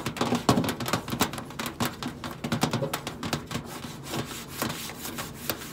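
Long acrylic nails scratch and rub across the flat stainless steel side panel of a hollow microwave. Quick, dense bursts of bright, scratchy friction come in rapid succession over a faint hollow, low resonance. The strokes are loudest at the start and settle into a steadier, softer rasping.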